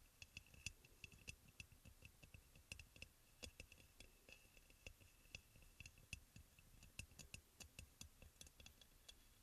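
Fingernails tap quickly on the shoulder and sides of a white crackle-glazed ceramic aroma oil burner, hollow with a front opening. The result is a steady run of soft, sharp clicks with a faint ring near 2.6 kHz and bright highs, each dying away almost at once over a quiet low rumble.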